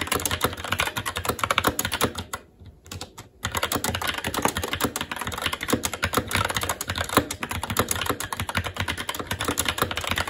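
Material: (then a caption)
Plastic. Fingertips of both hands type rapidly and continuously on a SteelSeries Apex 7 TKL mechanical keyboard with red linear switches, black plastic keycaps and an aluminum plate. The result is a dense stream of short, bright clacking key taps, with a brief, quieter pause a little past two seconds before the typing resumes at full pace.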